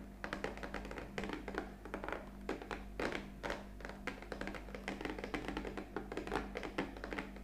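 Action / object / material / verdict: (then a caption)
tap / cardboard capsule box / cardboard / none. Long fingernails tap rapidly on the top edge of an upright, hollow black printed cardboard coffee capsule box. The taps are quick, dry clicks with a hollow body and very short decay, playing in irregular bursts over a faint, steady low hum.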